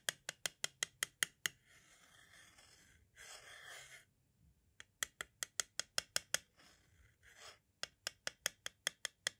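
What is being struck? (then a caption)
Plastic audio cassette shell. A pointed tool taps and scratches the lower face of a small, hollow white hard plastic audio cassette shell. Twenty-five sharp, bright, dry clicks come in three quick runs, separated by soft, hissing scratches across the plastic, with one louder scrape in the middle. The taps stop at once with no ring.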